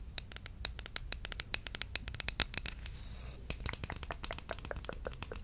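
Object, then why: Bamboo wooden spatula. Long red nails scratch and tap a solid, flat bamboo wooden spatula or spoon with a wide bowl. A fast run of sharp, dry clicks and taps with bright edges sits over a low rumble, and a short stretch of steady scratching comes just past the middle.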